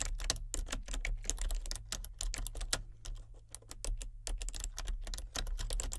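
Fingertips with painted nails type steadily on a full-size plastic computer keyboard with color-changing backlit keys. Rapid, bright plastic clicks and clacks come in an uneven rhythm with short pauses, each tap dying away almost instantly. A steady low hum runs underneath throughout.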